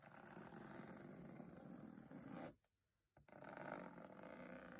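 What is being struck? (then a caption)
Textured aluminium case lid. Long nails and fingertips tap and scratch across the diamond-textured aluminium lid of a hollow metal box, making a dense, steady rasping scrape. Just past the halfway point the sound drops to near silence, broken by a single faint tap, before the scratching resumes at full level.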